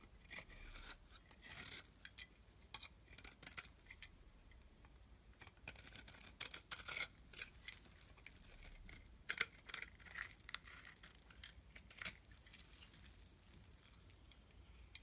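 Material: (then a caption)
Soap. A solid rectangular white soap bar held in the palm is shaved with a small metal blade, with the shavings falling onto a pile. The clip is a quiet series of short, bright scraping and scratching strokes with crisp, crackly high-end texture and almost no low end, each stroke dying away instantly.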